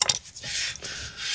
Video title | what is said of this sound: Worn Out BMW 1 Seris Rear brakes. How to change them on a 2011 model. | You hear that slight bit of drag?